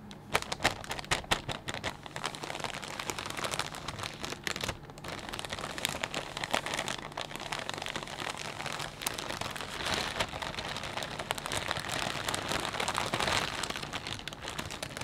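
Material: Plastic.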